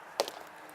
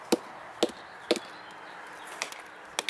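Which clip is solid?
The second.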